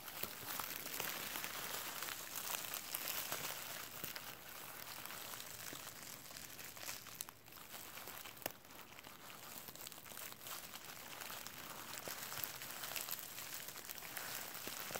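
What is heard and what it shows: A clear plastic bubble wrap sheet with hollow air bubbles is bunched in one hand and crinkled with the fingertips. It makes a steady, bright, dense crackling and rustling with little low end. The sound briefly dips around the middle, then a single sharp snap follows before the crinkling continues.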